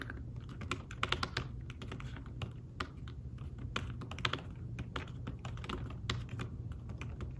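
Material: Fabric.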